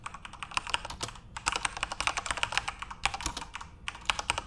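Fingertips type on a backlit plastic RGB Corsair mechanical keyboard as the hands return to the keys. Quick bursts of bright, clicky keystrokes with almost no low end, each dying away instantly, are separated by brief pauses.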